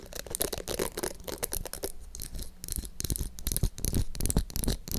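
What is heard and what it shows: Long nails scratch across the plastic bristles of a small pink plastic detangling hair brush, making dense, crackly rasping. They then tap the brush's glittery, rounded plastic back, giving sharper clicks with a low, dull knock underneath.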